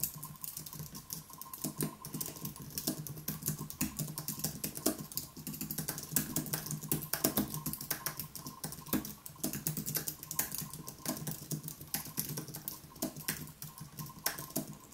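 Both hands type continuously on a wireless keyboard with white plastic keys on an aluminium base, resting on a wooden desk. Fingertips tap out a steady stream of quick, dry clicks with bright, crisp attacks over a soft low hum and a faint steady tone near 1 kHz.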